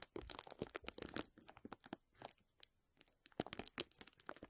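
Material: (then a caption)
Plastic. Clear plastic bubble wrap held over the mic is crinkled by fingertips scratching and squeezing it. Dense, bright crackles and crinkles come in quick clusters, ease into a quieter stretch past the midpoint, then return in a sharper burst of snapping crinkles.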